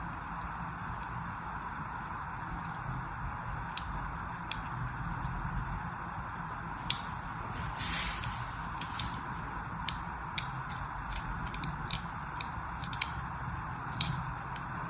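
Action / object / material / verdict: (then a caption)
scrape / solid bar of soap / soap / none. A small, solid bar of pink-and-white striped soap is held in one hand while long manicured nails and fingertips rub and scratch it, and a thin metal blade or needle then scores it. A steady, soft rubbing hiss with a low rumble runs throughout, broken by short, bright, crisp scratches and ticks.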